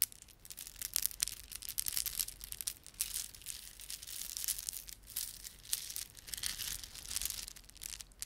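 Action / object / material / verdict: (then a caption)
scrape / plastic beaded ornament / plastic / none. A plastic beaded ornament is rubbed and squeezed between fingertips. Dense, bright clicking and crinkly rustling come in uneven bursts with almost no low end, each click dying away instantly. The sound stays quiet throughout.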